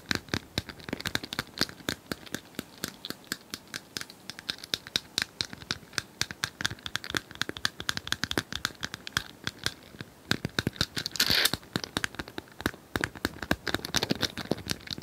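Long nails scratch and tap rapidly across a small, likely hollow, plastic cylindrical puzzle toy with colored tiles as it is tilted. The result is a dense, bright stream of short clicking scratches, with a louder, hissier scrape swelling just past the 11-second mark.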